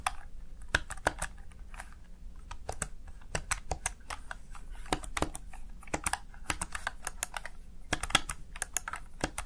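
Fingertips rapidly type on the keys of a small, backlit plastic Razer Tartarus Chroma gaming keypad, seen from the side. A fast, uneven run of sharp, bright plastic clicks sounds over a low, steady background hum, each click ending almost instantly.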